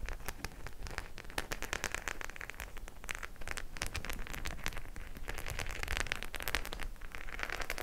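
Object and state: Studded faux leather clutch bag.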